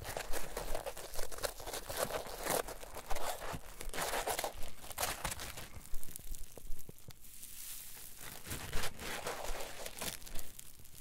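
A solid rectangular green polyethylene foam block on a table is pressed, rolled and squeezed with fingertips and palms. It gives dry, crinkling, crunchy squeaks in uneven bursts with bright, hissy texture and a low rumble underneath.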